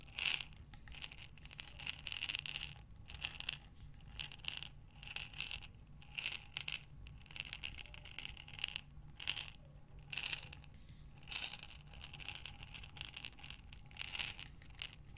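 A glass mason jar with a metal lid, filled with small buttons, is turned sideways and tipped by hands with long nails so the buttons slide inside. Repeated bursts of bright, dense clicking and rattling come and go with short quiet gaps over a faint low hum.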